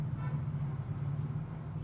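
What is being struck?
Nothing is struck.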